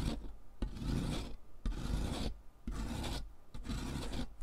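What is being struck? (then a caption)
Chalk stick on perforated metal foot file. A thick solid stick of pink sidewalk chalk, held in fingers with long nails, is rubbed back and forth over the perforated metal surface of a purple plastic-framed foot file lying on cardboard. Six rough, gritty rasping strokes are heard, heavy in the low end with a breathy scratch on top, as pink chalk dust falls.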